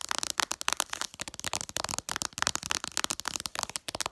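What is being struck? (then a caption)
Glass smartphone screen tapped with fingernails. Long purple nails tap rapidly on the glass screen of a smartphone lying flat with its app icons showing. The result is a dense, fast stream of sharp, bright clicks with almost no low end, each dying away instantly, so the sound comes across like crackling.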